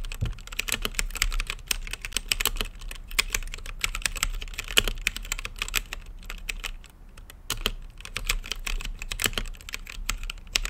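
Fingertips type steadily on an RGB mechanical keyboard with plastic keycaps set in a clear acrylic case. A rapid, continuous stream of bright, sharp clacks has very short decay over a steady low hum, with a brief lull around the seven-second mark before the typing picks back up.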